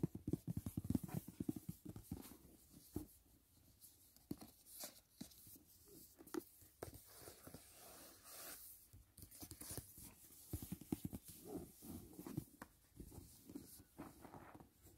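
Fingertips tap and scratch the lid and side edge of a closed, rigid white paperboard gift box resting on a bed. Quiet, dry, hollow taps mix with rapid scratchy rasps that carry a bright hiss. The sound stays soft and close throughout, with no ringing after each touch.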